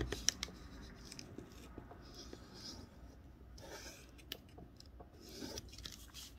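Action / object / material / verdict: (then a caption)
scrape / thin wrapping paper sheet / paper / none. A small folded square of thin snowman-print wrapping paper is held flat under one palm while the fingertips of the other hand rub and scrape along its creases during origami folding. The result is quiet, bright, papery scratching and rustling, with a few sharp crinkly ticks near the start and later on.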